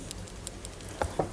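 A nephrite jade stone in a metal jewellery setting is shaken close by, producing a series of faint, quick clicks and rattles, with the last two louder and fuller. The sound shows the stone is slightly loose in its setting: not enough to come off, but enough to rattle, so the setting needs pushing further.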